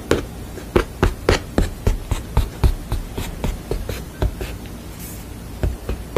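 Long fingernails tap and scratch across a thick wooden panel painted with a sugar skull. About fourteen short, dry, low-heavy taps fall at an uneven quick pace, with faint scratchy rustling between them.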